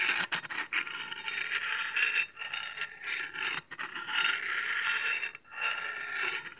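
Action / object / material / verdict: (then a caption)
scrape / steel cleaver blade and steel honing rod / steel / none. A wide, flat, solid steel cleaver blade is held in one hand while a steel honing rod is scraped across its edge. Long, bright metallic scrapes follow one another with short gaps between them, each a hissing rasp with a faint ringing tone.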